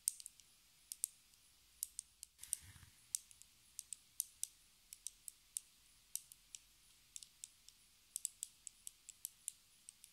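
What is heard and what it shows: A small pink rectangular plastic lipstick case, held horizontally, is tapped with long red nails in about 37 quiet, sharp, high-pitched clicks that stop almost instantly. The taps come at an uneven, slow pace, with a brief low rustle near the 2.5-second mark.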